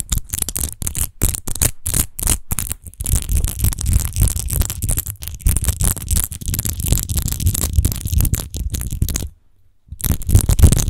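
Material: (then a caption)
Glass. Long nails scratch fast over the textured surface of a large, hollow, clear glass rose-shaped wine bottle with a rose-textured base, apparently empty. The rapid, uneven scratching makes a bright, gritty rasp over a dull low rumble, pausing briefly near the nine-second mark before resuming.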